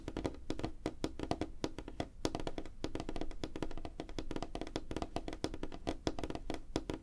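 Rapid fingertip and nail tapping on a flat, solid, light wooden tabletop produces a dense stream of short, dry taps with a woody mid-low knock and quick, clicky attacks. The hits come in fast, uneven bursts with brief pauses and barely ring out between strikes.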